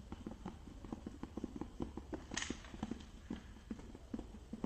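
A small rectangular clear plastic case with a green plastic lid, holding a printed product box, is tapped with fingertips and nails while held in both hands and tilted. The result is a quick run of dry, hollow clicks with a low hum-like body, plus one brighter scraping rattle near the middle.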